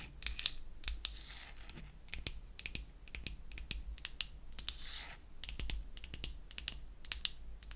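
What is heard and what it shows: Long acrylic nails tap and scratch the front face of a palm-sized, pink-painted wooden heart-shaped toy perfume bottle, likely solid. Many quick, bright, dry clicks with almost no ring are heard, with a few longer scratchy strokes in between. A soft, steady low hum runs underneath.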